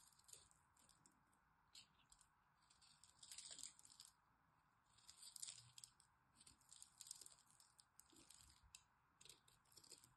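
A small blade scrapes along the edges of a solid green dry soap bar with a crosshatch-scored face, and flakes come off. Quiet, bright, dry crackling and scratching come in uneven bursts, swelling louder around the middle of the clip.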